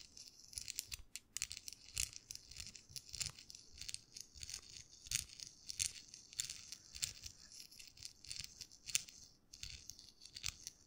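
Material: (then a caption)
Paper. A small, folded US dollar bill of thin paper is crinkled and rubbed with fingertips close to the microphone. The result is a quiet, continuous stream of dry, bright crackles and rustles, with short sharp bursts and almost no low end.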